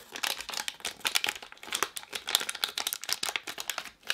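Fingertips and long painted nails squeeze and crinkle a small, unopened green and blue Ooshie blind-bag packet made of plastic film, held in both hands. The result is a dense run of sharp, bright crackles with no low end, each dying away almost instantly.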